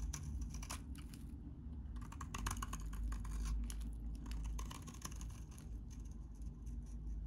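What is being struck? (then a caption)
Bar of soap cut with a knife blade. A utility knife blade shaves crunchy curls off a solid, hand-sized, very dry, cream-colored vintage soap bar. Rapid, irregular crisp scraping and crackling bursts sit over a steady low rumble.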